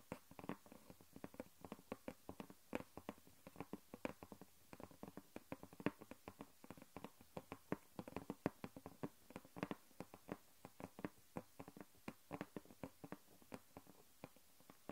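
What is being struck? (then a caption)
Flat chipboard sheet on a wooden table. Long fingernails rapidly tap a thin, flat grey chipboard sheet lying on a wooden table, making about 71 short, dry clicks in 15 seconds. The taps are soft and dull, centred around the low-mids, with almost no ring after each one.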